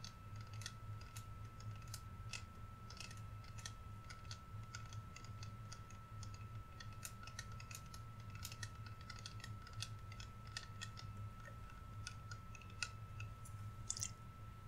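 Fingernails tap and scratch a clear plastic body mist bottle with liquid inside and a pump top, held in both hands and lowered toward the mic at the end. Quiet, rapid, bright clicks and scratchy ticks with almost no ring scatter over a steady low hum and a faint constant tone.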